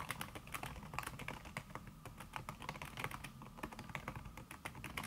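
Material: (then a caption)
Silicone. Fast typing by long-nailed fingertips on a backlit laptop keyboard in a silver aluminum body, its keys covered by a thin red silicone skin. A rapid, continuous stream of soft, muted taps with short bright clicks keeps going throughout, each keystroke dying away almost instantly.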